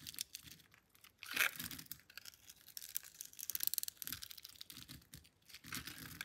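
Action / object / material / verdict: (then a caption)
scrape / bar of soap cut with a metal blade / soap / none. A solid pink Camay bar of soap, palm-sized and held in one hand, is scored and sliced into thin strips with a metal blade. The audio is bright, dry scraping and cutting, with a dense run of short crisp rasps and crackles. A louder burst comes early, then a quicker cluster of sharp ticks midway.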